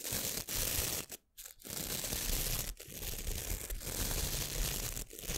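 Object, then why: Plastic hand scrub brush with nylon bristles. A small, hand-sized white plastic scrub brush with stiff nylon bristles is held close to the mic while long nails scratch and flick across the bristles. The result is a dense, broadband, harsh scratching and crackling with a deep low rumble and a bright hiss. The texture is broken by a few brief near-silent gaps.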